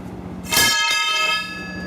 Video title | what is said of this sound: Lossless Environment | see how it's still resonating